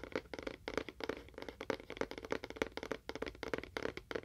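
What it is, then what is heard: Cardboard box, empty. A small, hollow, apparently empty rectangular cardboard box with a faux wood-grain print is held beside a binaural mic and tapped quickly with fingernails while being moved from ear to ear. About twenty quick, dry, irregular taps sound, each with a hollow knock centered around 450 Hz, a light papery click on top, and almost no ring.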